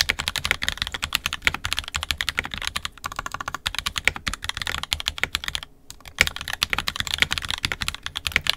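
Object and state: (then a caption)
Plastic mechanical keyboard. Fingertips of both hands type continuously on an NK65 Entry Edition 65% mechanical keyboard with a purple plastic case, red and black plastic keycaps, and lubed, filmed 67g Tangies switches. The result is a rapid stream of short, bright, dry clacks with almost no ring, broken by a brief pause near the six-second mark.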